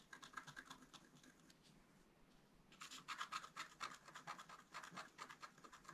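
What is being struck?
Black-coated scratch art paper card scratched with a wooden stylus.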